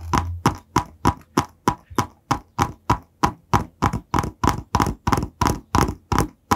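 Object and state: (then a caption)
Cardboard product box. Fingertips tap and scratch the surface of a long, narrow, white printed cardboard box, which is hollow and held horizontally in both hands just above the microphone. A steady run of about three short, dry hollow taps per second is heard, each with a papery scratch and a quick-fading midrange knock, with a faint low hum at the start.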